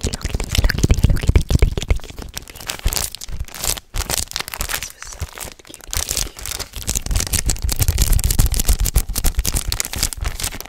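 A flat Hello Kitty poster pack, a paper poster pack sealed in clear plastic film, is held in both hands in front of a microphone while fingertips with medium nails grip, rub and crinkle the plastic wrapping. Dense, fast crinkling and crackling with tearing-like rips continues throughout, with a short quiet break near the four-second mark.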